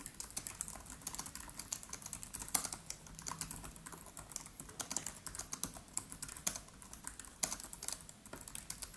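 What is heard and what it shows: Fingertips of both hands type rapidly on the black plastic keys of a MacBook Pro laptop with an aluminium body. Quick, bright clicks sound in a dense, uneven stream, each dying away almost at once, with a few sharper, louder taps.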